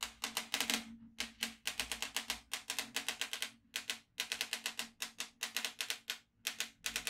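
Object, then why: Plastic magnetic drawing pad with steel beads. A yellow magnetic pen is moved over the holes of a black plastic magnetic drawing tablet filled with steel beads. Rapid, bright bead clicks come in quick runs separated by short pauses, each click dying away almost at once, with a faint tone near 230 Hz underneath.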